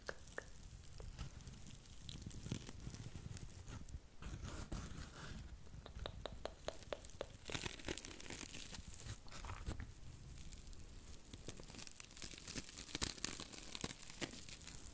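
A porous, dry blue cellulose sponge is bent and scratched with long nails close to the microphone. The result is a quiet, continuous stream of dry tearing, crinkling and crunching crackles, with sharp bright clicks over a soft low rumble.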